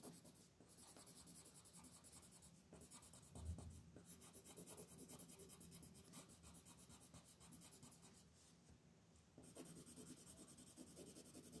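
A brown wooden colored pencil, held in a hand with long painted nails, rubs in fast coloring and scratching strokes across a flat white paper sheet printed with a mandala, lying on a table. The result is a steady, quiet, dry scratching and rubbing with a bright, hissy edge over a soft low rumble. It has a brief louder bump early on and a short quieter stretch before the strokes pick up again.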